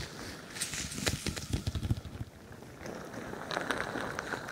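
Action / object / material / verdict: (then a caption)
scrape / stretchy plastic ball filled with plastic beads / plastic beads / none. A crinkly bingsu ball, a stretchy plastic skin filled with plastic beads, sits on top of a microphone and is squeezed and scratched with long nails. Dense bead crackles mix with soft, bassy thumps that peak in a cluster of quick squeezes. After a brief quieter stretch, a brighter, rasping scratching texture takes over.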